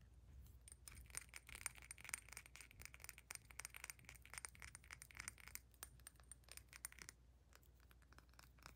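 Long nails rapidly tap the sides of a square glass perfume bottle filled with amber liquid and topped with a metal collar, making quick, bright clicks with a faint high glassy ring over a low hum. The tapping thins out and grows quieter near the end as the cap is removed.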